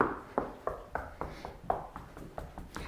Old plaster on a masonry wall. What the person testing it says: You can hear that hollow sound.